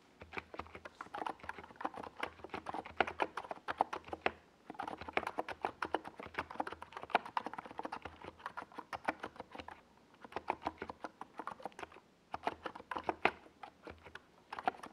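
A compact 68-key NiZ Plum Atom 68 mechanical keyboard with a hollow white plastic case and purple and yellow Domikey Gas Attack SA plastic keycaps is typed on rapidly with the fingertips of both hands while resting on a desk pad. The result is dense, hollow, clacky key taps centered in the midrange around 730 Hz. The taps come in steady bursts separated by a few brief pauses.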